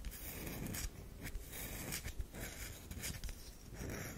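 Long nails scratch lines across the surface of a solid oval tan DURU bar soap, making dry, crackly scraping strokes. Short bright rasps rise and fall over a steady low rumble, with several sharper scratches standing out.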